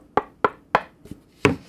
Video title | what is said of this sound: 3-WAY ACTIVE DSP HIFI SPEAKER KIT BUILD VIDEO! SEAS King RO4Y MKIII Von Hertzog's Studio Monitors 🔉🔉 | just by knocking on it this is much more dead